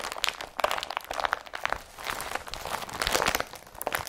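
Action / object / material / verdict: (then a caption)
scrape / woven polypropylene carrier bag / polypropylene / none. Hands twist, crumple and squeeze a blue woven polypropylene IKEA BRATTBY carrier bag, producing dense, continuous crinkling and crunching. The sharp, bright rustles have almost no low end and overlap into a steady stream rather than separate hits.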